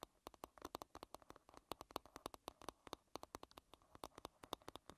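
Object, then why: Varnished wooden hairbrush back. Long red-painted nails tap and scratch the small, solid oval wooden back of a bristle hairbrush, across its varnished surface. About 38 quick, dry clicks follow one another with barely any ring, each carrying a hollow woody tone around 1 kHz with bright edges. Faint scratchy friction fills the gaps between taps.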